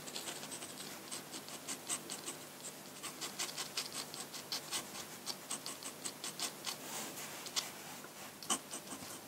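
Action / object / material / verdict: scrape / steel dip-pen nib on thick drawing paper / paper / none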